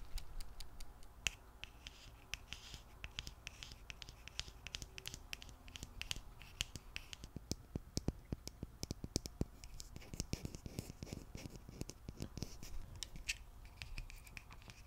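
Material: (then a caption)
Glass. A small frosted glass foundation bottle with a pink cap is held horizontally and scratched and tapped with long nails. Quiet scratching runs throughout, broken by many sharp, short clicks with a bright high ring around 2.7 kHz that die away almost instantly.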